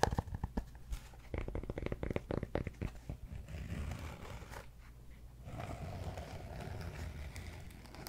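Fingertips tap and scratch the side of a large solid cork yoga block tilted beside the mic. A quick run of dull, soft taps comes first, then a continuous low, rustling scratch fills the rest of the clip.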